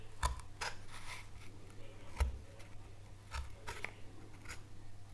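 A fine carving knife cuts and scrapes a small solid light wooden board carved with a relief oak leaf, held in gloved hands. Several short, dry, crisp snips and scratches come at irregular intervals over a steady low hum, each fading almost at once.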